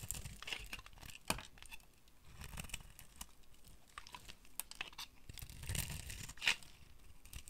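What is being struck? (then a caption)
Soap bar scraped with a metal blade. A metal blade scrapes and carves flakes from the face of a hand-sized, solid orange bar of dry soap. The result is a steady run of dry, crisp, crumbly scratching and tearing sounds with bright high-end texture. A few sharper crunches stand out as flakes break away.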